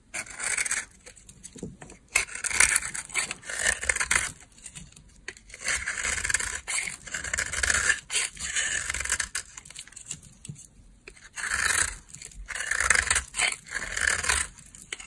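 A solid beige bar of dry laundry soap, held in the hand, is carved and scraped with a green-handled utility knife blade, and the shavings fall onto a pile. Bursts of dry, bright, crackly scraping come in short strokes separated by brief pauses, with little low-end and almost no ring after each stroke.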